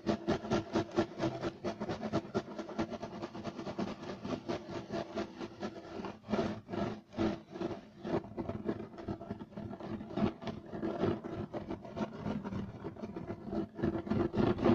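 Short nails of both hands rake rapidly across a flat, solid, beige striped woven loop-pile carpet. The result is a dense, fast stream of dry scratching strokes with a raspy mid-range texture. It keeps a steady, restless rhythm that swells and dips in short bursts throughout.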